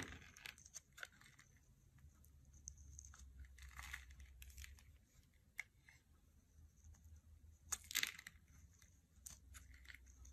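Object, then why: Soap bar scraped with a knife. A knife blade scrapes the surface of a solid, hand-sized gray soap bar held in the hand, shaving off white-gray flakes and curls. The sound is a quiet run of bright, crisp scraping and crunching strokes with short, sharp peaks and no ring, over a faint low hum.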